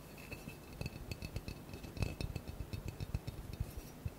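Fingertips and nails tap quickly on a large, square, hollow blue glass bottle that seems empty and is held in the hands. The result is a fast, uneven run of soft, dull knocks with faint, bright glassy clicks, each dying away almost at once.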